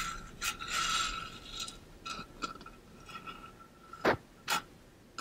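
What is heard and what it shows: Fingernails scratch and fingertips rub the coated surface of a tall, pink-blue ombre stainless steel water bottle held upright. The result is bright, dry scraping and rubbing with a faint metallic ring around 1.3 kHz. The clip ends with a few sharper, louder scratches.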